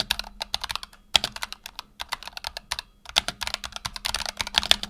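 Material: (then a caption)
PBT plastic. Fingertips type on a black tenkeyless Razer Huntsman Tournament Edition mechanical keyboard with PBT plastic keycaps and optical switches, resting on a desk mat. It produces a rapid run of bright, crisp plastic clacks that die away at once, with brief pauses near the one- and three-second marks. A faint low hum sits underneath.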